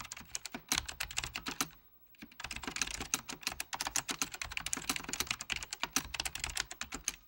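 An Apple Extended Keyboard II, a full-size beige plastic keyboard with plastic keycaps over mechanical switches in a hollow plastic case, is typed on continuously with the fingertips of both hands, rings on the fingers. It gives rapid, bright, sharp key clicks and taps with almost no ring, broken by one brief pause near two seconds before the fast typing resumes.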